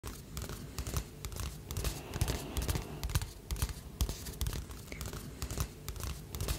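Fingertips and nails tap and scratch the cover of a glossy paper magazine held upright in one hand. The result is a quick, irregular run of dull, low taps with short papery scratches and crinkles between them.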